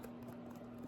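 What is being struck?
Nothing is struck.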